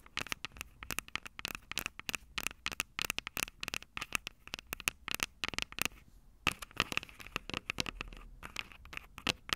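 Long purple nails scratch and tap the metal microphone capsules of an upright Tascam DR-05 recorder, with fingers wrapping around them. It makes a dense run of sharp, dry clicks and scratchy rasps, bright with a steady tone near 2.6 kHz. The taps stop dead with almost no ring, and there is a short quieter pause around the six-second mark.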